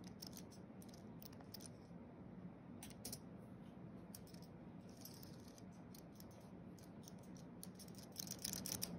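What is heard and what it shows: Fingertips of both hands tap quickly across the white plastic keys of a thin wireless keyboard with a flat aluminium base, typing. Irregular, quiet, bright clicks patter over a steady low hum. The tapping gets denser and louder in the last second.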